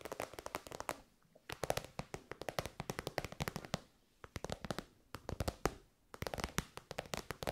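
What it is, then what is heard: Glossy fabric pouch tapped with nails. A pink, glossy, metallic-finish fabric pouch, elongated, soft and hollow, is held in the hands and tapped and scratched with long almond-shaped nails. Quick, sharp, dry crackling taps come in dense bursts separated by short pauses.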